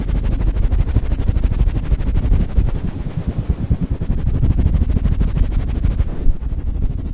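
A grey fluffy synthetic-fur windscreen over a microphone is scratched and rubbed fast with fingertips and nails, making a dense, low, rumbling scrape that pulses irregularly. The rustle stays heavy in the bass, with almost no high content, and keeps going steadily, dropping off briefly near the end.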